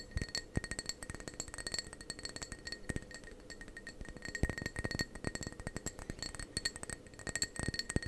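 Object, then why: Ceramic mug. Fingernails tap rapidly and continuously on the outer wall of a hollow, apparently empty dark blue ceramic mug held in both hands close to the microphone. Each tap is a short, bright clink with a faint ceramic ring that fades almost at once, over a soft low thump from the handling.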